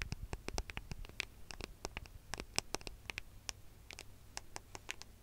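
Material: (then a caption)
Metal and glass. A gold smartphone with a metal and glass body is held in both hands close to the microphone while fingernails scratch and tap its back and edges. A rapid, irregular string of sharp, bright clicks and ticks rings out, each dying away almost instantly, over light scratching and a faint low rumble.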